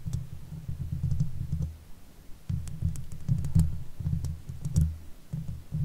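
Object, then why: Steel mesh microphone grille. Long nail tips scratch the hollow steel mesh grille of a silver Blue Yeti microphone, producing dense, low rumbling scratches in several bursts separated by short pauses. Brief faint clicks reach high up now and then over the deep, muffled scraping.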